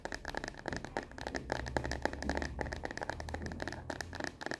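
Long fingernails tap fast on the back of a star-print plastic phone case fitted on a smartphone. It makes a dense, rapid stream of short, dry plastic clicks with a bright edge, over a faint low hum.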